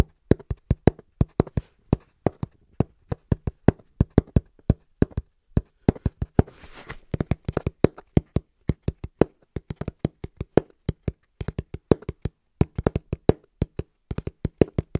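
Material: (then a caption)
Cardboard. Fingertips tap quickly and rhythmically on the flat face of a small, hollow brown cardboard box held in both hands. Dozens of short, dull, hollow taps land in quick bursts, with a low body and no ring. A brief soft scraping rustle comes in just before the middle.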